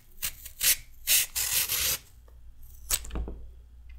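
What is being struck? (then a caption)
Raw carrot and metal peeler. A red metal peeler shaves wide ribbons from a solid raw carrot. It makes a series of bright, rasping scrapes in short bursts, some longer and smoother, separated by quiet pauses with faint handling noise.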